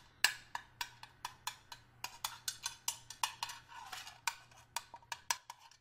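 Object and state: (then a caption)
Stainless steel hip flask. A small, hollow, flat stainless steel hip flask, held up in the hand, is tapped with the metal tip of a small screwdriver; its fill level is unseen. A quick series of short, bright, clinking taps, each ringing only briefly with a clear high metallic ping.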